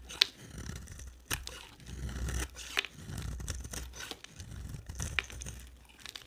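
A utility knife blade carves and scrapes a dry, solid oval yellow soap bar with a blue rim, held in the hand. Dry, crisp scraping and crackling shavings alternate with a few sharp, bright cutting snaps that stop almost instantly.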